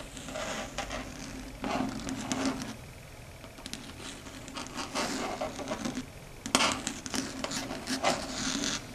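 Long red stiletto nails tap and scratch across a large, flat, dark gray chalkboard. Bursts of dry, bright scraping alternate with quick clicking taps, separated by quieter stretches of a faint, steady low hum.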